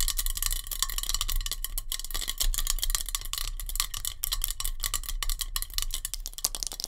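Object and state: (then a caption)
Metal hairspray can. Long nails tap rapidly on a metal hairspray can, producing a dense stream of sharp, bright metallic clicks with a low background hum. The taps blur into a continuous rattling texture, too quick to count individually.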